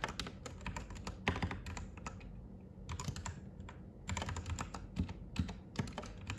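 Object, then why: Mechanical keyboard with plastic keycaps. Both hands type with their fingertips on a white Royal Kludge RK98 mechanical keyboard with plastic keycaps, resting on a desk. A quick, steady run of clacky keystrokes sounds, each with a deep, muted body and a bright, short click. The keystrokes thin out briefly in the middle before picking back up.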